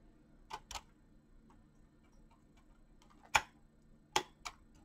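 A full-size mechanical keyboard with clicky green switches, pink-blue PBT plastic keycaps and a hollow plastic body is typed on quickly by fingertips with short painted nails. Five sharp, bright clicks land at irregular intervals, two close together near the start and three more later, each dying away almost instantly over a faint background hiss.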